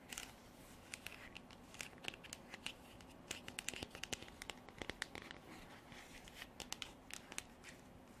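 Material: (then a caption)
Plastic. Long black artificial nails tap and scratch a hand-sized, hollow, white frosted hard plastic container with a textured surface that appears empty. Quiet, rapid, bright clicks mix with dry, scratchy rasps over a soft hiss, each tap dying away almost instantly.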